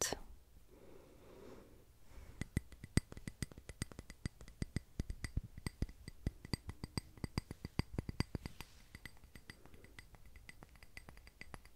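A small clear glass tumbler filled with solid white wax, an unlit candle with decorative wax pieces on top, is held in the hand and tapped with long red-painted nails. After a brief soft rustle, a rapid, uneven run of sharp, bright clinks and clicks follows, each dying almost instantly with little ring over a low background hum.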